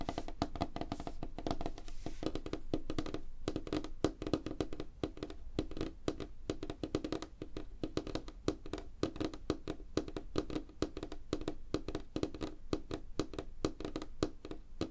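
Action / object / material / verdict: tap / wooden tabletop / wood / none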